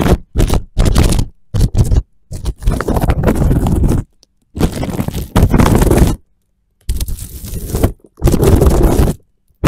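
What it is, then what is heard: Plastic cling film. Fingertips and nails scratch and rub loose, crinkled clear plastic cling film stretched over a microphone on a wooden floor. Bursts of close, low-heavy scraping and crinkling start and stop, with brief silences between them.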